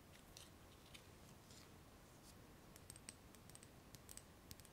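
Long nails tap and scratch the sides and rim of a small, lidless clear glass jar filled with solid pink-purple candle wax. Quiet, sharp clicks with a brief bright glassy ping sit over soft scratching and a low, steady background rumble. The taps grow more frequent and distinct toward the end.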